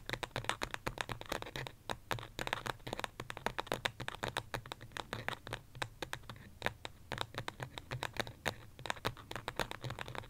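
Long fingernails tap and scratch rapidly on the side of a small white pot, probably ceramic, holding an artificial succulent. Dense, sharp clicking taps with almost no ring mix with a bright, dry scratching texture over a faint low hum.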